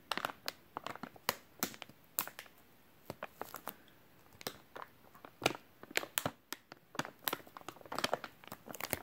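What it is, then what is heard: Soft plastic wet wipes pack. A white, hand-sized soft plastic wet wipes package, full of wipes, is squeezed and crinkled with the fingertips. It makes a quick series of sharp, bright crackles with almost no low end. The crackles come in uneven bursts, with short quiet gaps between them.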